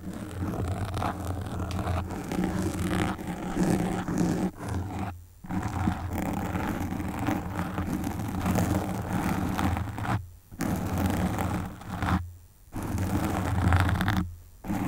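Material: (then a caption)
Foam. Long pink nails scratch and stroke the black foam windscreen on a desktop microphone, making a dense, low, rumbling scratching and rustling texture with little high-end content. The sound runs steadily, broken by a few brief silent pauses as the strokes stop and start again.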